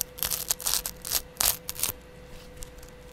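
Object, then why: Kitchen sponge with abrasive scouring pad. A palm-sized kitchen sponge with a yellow foam layer and a green abrasive scrub pad is held in the hand while the green pad is scratched with a double edge razor blade and fingertips. About ten bright, raspy scratching bursts come at an irregular pace over a faint steady hum. They fade to quiet after about two seconds.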